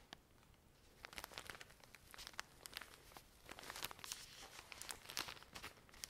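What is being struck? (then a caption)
Pack of cotton pads in plastic film. Long nails scratch and tap the plastic film of a full pack of cotton pads. Soft, bright crinkling and scratching run throughout, broken by quick, sharp taps that die away almost at once.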